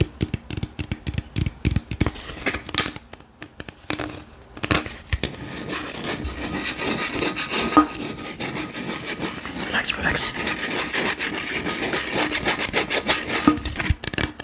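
A tall, hollow, gold-printed aluminium beverage can is scratched and tapped with the fingertips. Quick, dry, bright taps come first, then a brief near-silent pause, then a steady stretch of scratchy rubbing and scraping. A faint, low metallic ring sits under the sounds.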